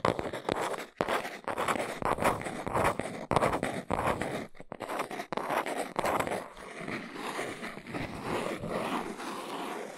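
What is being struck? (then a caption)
Small cardboard box. A small, hollow, brown printed cardboard box of Arteza carving blocks is held in the hands while long pink almond-shaped nails tap and scratch its sides. Quick, irregular dry taps and raspy scratches fill the first half. The second half settles into steadier, softer scratching with a papery, mid-range hiss.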